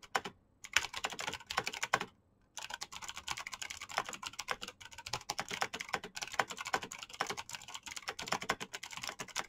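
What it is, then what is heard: Mechanical keyboard. Very fast fingertip typing on a black plastic mechanical keyboard with clicky switches produces a dense stream of sharp, bright clicks with almost no low end. The rapid bursts stop briefly twice near the start, then keep going without a break to the end.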